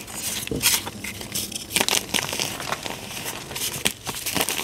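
Fingers dig into pink dyed gym chalk powder and a solid chalk block in a tray, squeezing, rubbing and breaking the chalk apart. A steady stream of dry, bright crunching and crumbling crackles rises and falls, with sharper snaps as pieces break.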